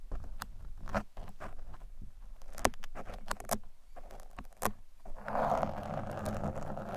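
Thin metal picks poke and scratch across the sides and top of a black foam microphone windscreen, making a run of dry, close-up crackling taps and scrapes with a low rumbly base. The contacts are short and irregular, and the last two seconds turn into a denser, steadier scratching rustle.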